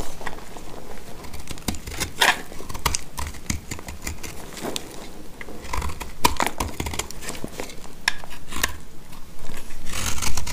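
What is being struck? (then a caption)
Soap bar cut with a blade. A box-cutter blade scrapes and shaves dry chips off a hand-sized, solid mint-green speckled soap bar held in the hand. Quick, irregular dry scrapes and crisp cutting clicks repeat throughout, each dying away almost instantly, over a low, soft rumble. Bright, crackly flicks stand out as the chips break away.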